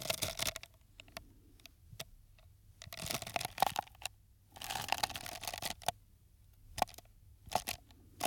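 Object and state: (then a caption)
Empty paper cup. A small, empty, hollow paper cup, red outside with a white rim, is held in one hand near the microphone while fingertips and nails tap and scratch its side. Bursts of bright, crinkly scratching and sharp, quick taps with a hollow ring around 770 Hz alternate with short quiet pauses.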